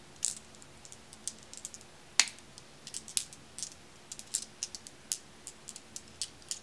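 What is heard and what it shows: Long-nailed fingers scoop handfuls of small, solid, dark, glossy glass marbles from a pile and roll them in the palm, so the marbles click against each other. About eighteen quiet, bright, sharp clicks come at irregular intervals, each dying away almost instantly, over a faint low hum.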